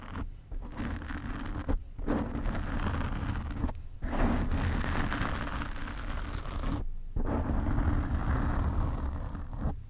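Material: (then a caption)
Foam. Nail tips scratch across the black foam windscreen on a desk microphone, making a dense, low, rumbling scratch-and-rustle close to the mic. The scraping runs almost continuously, broken by a few brief pauses before it starts again.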